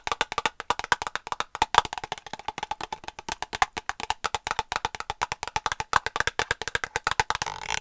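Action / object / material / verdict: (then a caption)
tap / small plastic cosmetic squeeze tube / plastic / none. Long acrylic nails tap and scratch a small white plastic cosmetic cream tube held in one hand, giving a rapid, steady run of about sixty dry, hollow clicks. The taps are short and woodblock-like, centered near 950 Hz with almost no bass and no ring, and a brighter scratchy rasp closes the clip.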